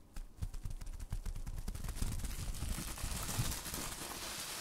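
Hands wrapped in clear plastic bubble wrap are held close to the mic as the fingers squeeze and pop the bubbles. A rapid, irregular string of short, thumpy pops comes first, then gives way to a denser, brighter crackle and crinkle of plastic that fills the rest of the clip.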